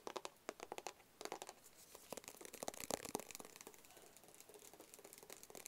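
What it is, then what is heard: Cardboard gift box. A small, rigid, hollow black cardboard Tommy Hilfiger gift box is held in both hands and tapped with fingertips and nails. It gives quick, dry, hollow taps mixed with light crinkly scratching, bright and short with no ring. The tapping comes in uneven bursts that build slightly toward the middle and then soften.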